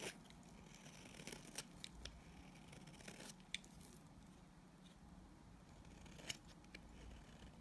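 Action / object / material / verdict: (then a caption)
scrape / bar of soap / soap / none. A blade scrapes across a solid white speckled soap bar, shaving off dry curls and powder. A quiet, steady gritty scraping runs throughout, with low rumble and bright hiss, broken by a few sharp, short clicks.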